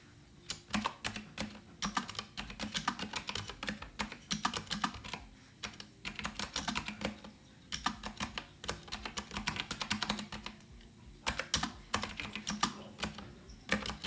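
Fingertips type continuously on a full-size rose-gold Azio Retro Classic mechanical keyboard with round typewriter-style plastic keycaps and clicky switches, resting on a wooden desk. Bright, sharp clicks come in rapid bursts separated by brief pauses, each keystroke dying away almost at once over a faint, steady low hum.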